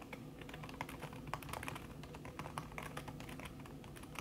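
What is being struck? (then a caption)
Laptop keyboard with silicone cover. Fast typing on a backlit laptop keyboard in a silver aluminum body, its keys covered by a thin red silicone skin and tapped by fingertips with long red nails. About 26 quick, soft clicks sound in a dense, even stream, muffled by the silicone and dying away almost instantly over a low steady hum.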